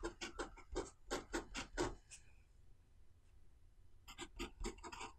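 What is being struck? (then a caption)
Pen nib on paper notebook page. A pen nib is drawn across the page of an open white paper notebook, writing lines of Chinese characters. A quick run of short, bright, scratchy strokes with a rubbing texture is followed by a brief quiet pause over a low background hum, then the scratching strokes resume.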